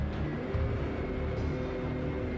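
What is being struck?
Nothing is struck.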